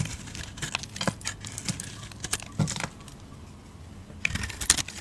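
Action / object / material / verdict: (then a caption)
scrape / bar of soap cut with a metal blade / soap / none. A metal utility blade shaves cream-colored curls from a solid cream soap bar with a black painted face, held in the hand. Crisp, crackling scrapes and bright, dry flicks come in short bursts over a soft low rumble, with a few sharper peaks near the end.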